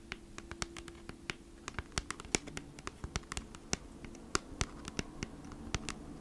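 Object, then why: Thin cardboard product package. Long nails scratch and tap across the printed surface of a thin, flat, hand-sized cardboard Bee's Wrap package, giving a quick run of sharp, dry, bright ticks and scrapes that stop almost instantly. A faint, steady low hum sits underneath throughout.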